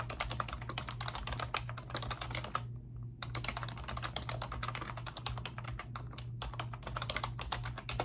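A pink plastic computer keyboard with round, backlit typewriter-style keycaps is typed on rapidly by both hands with long pink nails, giving a dense stream of sharp, bright clicks and taps. The typing pauses briefly just before the three-second mark and again near six and a half seconds, over a steady low hum.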